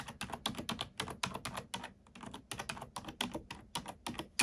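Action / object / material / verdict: tap / plastic computer keyboard / plastic / none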